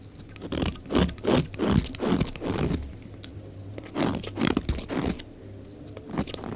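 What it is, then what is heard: Dry soap bar shaved with a blade. A utility knife blade shaves flakes off the face of a solid, dry, oval pink soap bar held in the hand until the bar gets thin. Irregular dry scraping crunches come in quick strokes, with bright crackly edges over a steady low hum.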